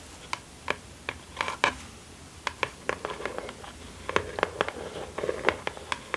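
Long acrylic nails on both ringed hands scratch and tap a small, closed, hollow kraft cardboard mailer box lying flat on satin fabric. Crisp, dry clicks and taps with a papery hollow tone centered near 1 kHz and bright high edges come in a quick, irregular series over a soft scratching hiss. Each tap dies away almost instantly.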